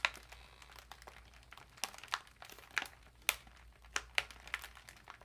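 Long nails tap and scratch an empty, foil-lined plastic cat food bag lying flat with its bottom edge folded. The result is a quiet series of sharp, bright crinkles and ticks, spaced irregularly, with faint scratchy rustling between them and almost no low end.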